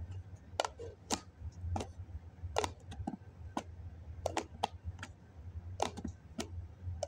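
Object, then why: Foam cup with plastic lid. A fingertip and nail scratch and rub the side of a hollow white foam cup that has a plastic lid on at first. Short, sharp, bright scratches and squeaks come in irregular bursts with almost no ring. A steady low hum runs underneath.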